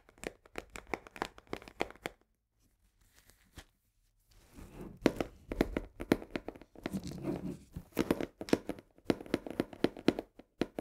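Long nails rapidly tap and scratch the edges of a full cardboard box of coarse salt tilted in the hand. Quick, dry, papery taps come in a fast run for about two seconds, then a near-silent pause with faint rustling. A denser mix of crisp taps and scraping scratches follows until the end.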